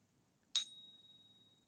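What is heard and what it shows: An American Silver Eagle silver bullion coin is ring-tested with a single sharp strike at about 0.55 s. The strike is followed by a clear, high ring near 3.8 kHz that sustains quietly to the end of the clip, the expected sound of a genuine silver coin.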